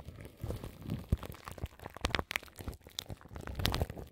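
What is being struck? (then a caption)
Plastic film wrapped over a microphone grille. Long nails scratch the crinkly plastic film wrapped around a large microphone's grille. The result is a close, dry stream of crackling crinkles and scratches with quick bright transients and a low rumble underneath. Each sound stops almost immediately, with no ring.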